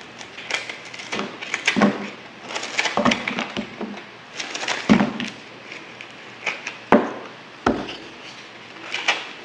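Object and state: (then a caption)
Bar soap being cut. A yellow-handled blade repeatedly cuts and scratches into a solid green bar of soap held in the hand. The result is a series of irregular, dry chopping crunches and scraping sounds with a bright, crisp edge and very little ring. Some sharper cuts stand out between softer scraping passages.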